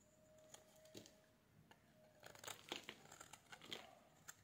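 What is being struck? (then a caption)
Bar of soap. A metal blade shaves the edge of a solid oval bar of dry pink soap held in the hands, producing crisp flakes. Quiet, bright scraping and crackling cuts come in short bursts, with a faint steady tone underneath at first. The scrapes grow denser and louder toward the end.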